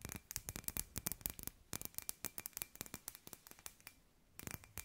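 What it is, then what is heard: Glass light ball tapped with fingernails. Long white nails tap and scratch a palm-sized hollow clear glass sphere with fairy lights inside, held in both hands. A quick run of sharp, bright clicks and light scrapes fills the clip with almost no ring, pauses briefly near the end, then resumes in a dense burst over a faint steady tone.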